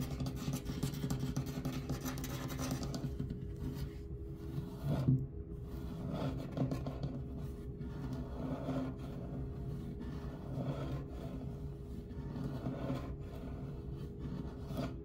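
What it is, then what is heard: Wooden bench. Fingertips and short nails scratch and tap along the top edge of a solid wooden gym bench with rough, knotted grain. The soft, dull rasping and light tapping sit low and continuous over a steady low hum, with little brightness and almost no ring after each touch.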